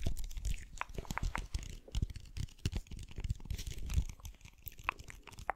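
A clear plastic bottle with a white lid, full of blue water beads, is tapped and scratched with the fingernails. Dense, rapid low thuds and clicks mix with crinkly scratching and brief bright ticks.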